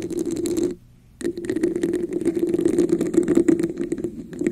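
Long nails tap and scratch a hollow red textured plastic cup held over the microphone, producing a dense, rapid crackling clatter with a hollow mid-low resonance and bright scratchy edges. The sound stops briefly near the one-second mark, then resumes as continuous busy tapping and scratching until the end.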